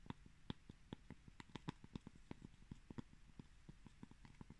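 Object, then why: Pressed cork coaster. A round, flat, palm-sized coaster of solid pressed cork granules, held in one hand, is tapped and scratched across its textured surface with fingertips and short nails. Quiet, dull, low taps with short bright clicks come in a quick, uneven run, and a soft scratchy rustle fills the spaces between them.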